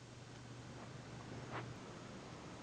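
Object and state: Nothing is struck.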